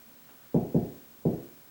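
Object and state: Hollow drywall ceiling between joists.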